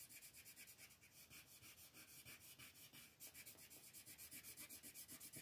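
A green colored pencil scratches and rubs across a thin paper coloring book page resting on a table in quick, dense shading strokes. The sound is a quiet, bright, hissy scratching that pulses in a steady run of rapid back-and-forth strokes with little low end.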